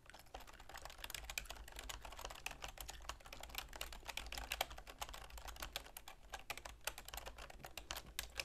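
A full-size black plastic keyboard with a silver plastic frame, resting on a wooden desk, is typed on rapidly with long manicured fingernails and fingertips. The result is a quiet, steady stream of sharp, bright plastic clicks and taps over a faint low hum.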